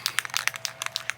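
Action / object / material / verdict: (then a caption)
shake / metal spray paint can with mixing ball / metal / none. A metal spray paint can is shaken before spraying, its loose mixing ball rattling inside. The result is a quick series of sharp, bright clicks that die away instantly, with almost no low end. The rattle is normal for the can.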